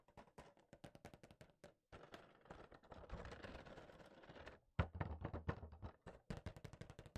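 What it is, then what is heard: Cardboard toy box with plastic window. A small, hollow collectible figure box made of cardboard with a clear plastic window is held in one hand and tapped with the fingertips of the other. Quick, dull, hollow taps come in bursts, giving way in the middle to a denser, continuous patter before separate taps return. The sound is soft and low, with short, dry hits and no lingering ring.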